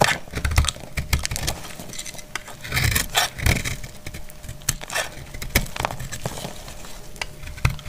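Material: Soap.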